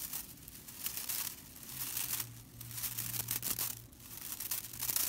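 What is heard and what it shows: Fingertips and long nails scratch and rake across the bristle ends of a small hand-held whisk broom, a flat bundle of dry straw bristles. The result is a dry, bright, crackling rustle that swells and fades in repeated waves, with a faint low hum underneath.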